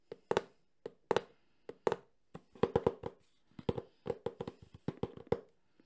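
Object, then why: Closed cardboard box. Fingertips tap quickly on the front face of a medium, closed cardboard Sony camcorder box. About twenty short, dull, hollow taps centered near 470 Hz land in irregular clusters, some doubled, with almost no ring after each.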